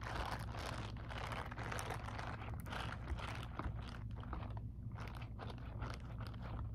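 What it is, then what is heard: Silicone scrubbing glove. Long acrylic nails tap rapidly on the textured back of the fingers of a grey silicone scrubbing glove held close. The result is a dense, steady stream of soft crunchy, crinkly clicks over a strong low rumble.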